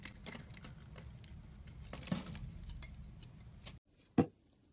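A solid rectangular white soap bar, held in hand, has its surface cut and scraped with a utility knife blade, sending shavings flying. A steady, soft, dry scraping rasp with brief crackly bursts runs for almost four seconds, then drops out before one sharp, louder cut near the end.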